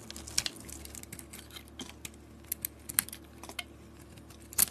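A utility blade shaves curls off a solid white bar of soap with a red glitter edge. Quiet, crisp scraping and light crackly ticks recur throughout, with a few sharper, brighter snaps standing out. The sound is short and dry with almost no ring, weighted toward the high end over a faint low hum.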